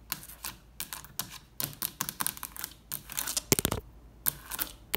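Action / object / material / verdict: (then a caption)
tap / plastic light switch plate with toggles / plastic / none. Long red nails tap and flick the toggles of a beige plastic triple toggle switch plate mounted on a textured wall. A quick, irregular series of sharp, dry plastic clicks and taps rings bright and dies away instantly, with a dense flurry of rapid flicks just past the midpoint.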